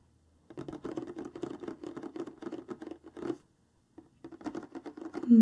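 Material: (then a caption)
Cardboard. Long nails of both hands tap and scratch rapidly along the lower front of a large, flat, printed cardboard craft-kit box lying on a table, hollow with its contents inside. The quick, dry patter has a soft hollow body, stops briefly partway through, then resumes and grows louder at the end.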